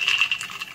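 Fried peanuts are stirred in a wok after the heat is turned off, giving a bright, crisp rattling clatter with most of its energy high up around 2.7 kHz and nothing in the low end. The rattle shows they are very crispy and cooked through, with no burn marks.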